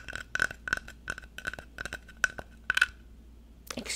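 Fingernails tap on the face of a small, solid, painted wooden block sign reading "I TEACH what's your superpower," held up close in one hand. The result is a quick, irregular run of short, dry clicks with a faint ringing tone around 1.5 kHz. The taps fall silent just before a brief, brighter, noisy brush at the very end.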